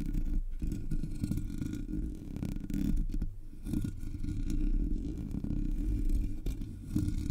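A single long fingernail taps and scratches across the top of the hollow black metal mesh grille of a Blue Yeti microphone. It makes a steady, dense, low-heavy scraping and rustling with quick, short taps mixed in, and the level stays fairly even throughout.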